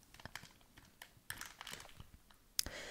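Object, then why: Plastic candy bag. Fingernails tap a medium-sized, sealed and apparently full printed plastic Haribo Worms gummy bag held up close, making a series of short, bright clicky taps on the crinkly plastic film. Soft crinkling rustles run between the taps, and a sharper crackle near the end gives way to a sustained crinkle.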